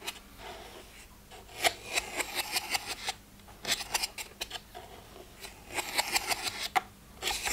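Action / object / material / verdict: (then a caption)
scrape / plastic pill box / plastic / none. Fingernails scratch and tap the lids and rims of a plastic weekly pill box with one row of compartments open and empty. Bright, dry clicks and scrapes come in uneven clusters with brief quiet gaps between them.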